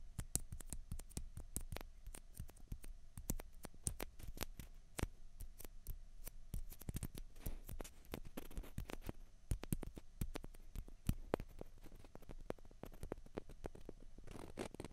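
Two small, hollow, white plastic ping pong balls, one held in each hand, are tapped and scratched with the fingernails. Quiet, rapid, sharp clicks and taps come in a steady irregular stream with brief rough scraping passes. Each tap is dry and short with almost no ring, and it carries a low, hollow knock under a thin bright edge.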